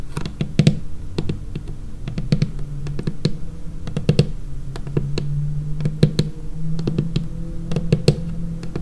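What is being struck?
Laminated wooden tabletop.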